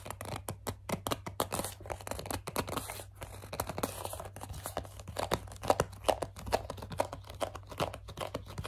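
Long dark nails grip, squeeze and scratch the sides of a medium, hollow white plastic CeraVe foaming facial cleanser pump bottle. The result is a dense run of quick squeaky gripping sounds and dry scratches with short, sharp crackles.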